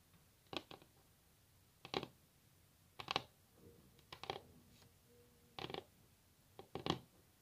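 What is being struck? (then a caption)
Varnished wooden tabletop. Long natural nail tips tap on a solid varnished wooden tabletop, making twelve short, sharp clicks that fall mostly in quick pairs with pauses between them. Each tap is dry and bright with almost no ring, over a quiet background with a faint low steady tone between some taps.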